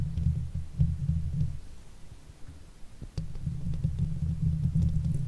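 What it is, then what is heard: Metal mesh microphone grille being scratched. A silver Blue Yeti microphone's hollow steel mesh grille is rubbed and scratched with the fingers and the backs of nails. The result is a deep, muffled rumbling and thumping, concentrated almost entirely in the low end. It eases to a quieter stretch midway before returning strongly.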